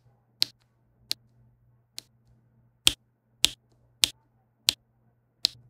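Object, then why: Plastic pen tapping resin drills on adhesive canvas. A plastic diamond pen with a pink tip taps small faceted resin drills onto a flat adhesive diamond painting canvas. Eight sharp, bright clicks sound at uneven intervals, each dying out almost instantly, over a faint steady low hum.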